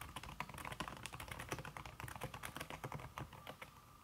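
Fingertips with red-painted nails type fast on a slim backlit aluminum keyboard whose keys are covered by a red silicone skin. The result is a rapid, steady stream of soft, muted clicks and taps with a dull low thud under each press and very short decay.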